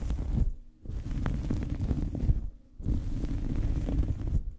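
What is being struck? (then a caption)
Small fabric towel. A small fabric towel draped over a microphone is scratched and pinched with fingernails, making a deep, muffled rumbling rustle concentrated in the low end. The scratching comes in sustained bursts separated by brief quiet pauses.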